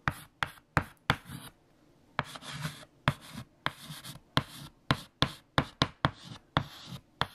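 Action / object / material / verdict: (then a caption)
scrape / white chalk stick on a chalkboard / chalk / none. Fingertips hold a stick of white chalk and write letters across a large, flat, solid black chalkboard. Fifteen sharp, bright chalk taps ring out, each followed by short scratchy strokes that die away quickly, with a brief quiet pause after the first few.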